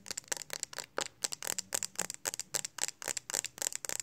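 Long acrylic nails tap quickly on the flat back of a smartphone in a pink hard plastic case, held in both hands. The taps come in rapid, irregular bursts of bright, dry clicks that stop instantly with no ring.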